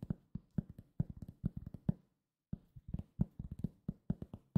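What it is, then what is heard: Cork coaster. A solid round cork coaster is tapped and scratched with fingertips, giving about 25 quick, dull, low thuds with no ring. The taps come in rapid clusters with a short pause midway through.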